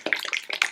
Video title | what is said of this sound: Panola Cajun Jalapeno Sauce Review | Can you hear that sloshing around in there?